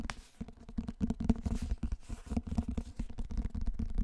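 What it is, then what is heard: Hardcover book. A large hardcover book is tilted and turned close to the microphone while fingertips and nails tap and scratch its cover and edges. The result is a steady run of soft, dull, low thumps and short scraping rustles with almost no bright content, each tap dying away almost instantly.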